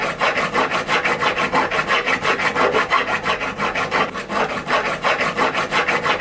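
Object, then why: Small silver ingot filed with a steel hand file. A small solid silver ingot held against a wooden bench pin is filed with a steel hand file. Steady, rhythmic rasping strokes, about three per second, make a bright scratching sound with little low end.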